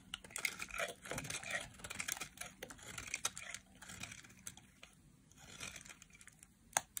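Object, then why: Bar of soap shaved with a metal blade. A solid chunk of dry orange soap, held in a hand with long black-tipped nails, is shaved with a metal utility knife blade over a pile of shavings. The result is a quiet run of crisp, bright scraping and crackling strokes with short, dry flakes of sound and almost no low end, ending in a sharper final scrape.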